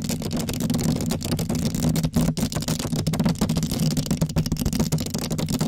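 Long acrylic nails on both hands scratch and tap rapidly across a black foam windscreen covering a microphone. The result is a dense, continuous, muffled rustling with a heavy low rumble and a steady low tone, broken by quick crackly scratches.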